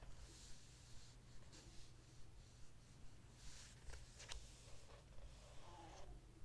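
Fingertips rub along the edges and surface of glossy paper pages in an open hardcover book, staying on the same spread throughout. Soft, bright brushing strokes repeat at a steady, fairly regular pace over a constant low hum, with a few slightly sharper swipes near the middle.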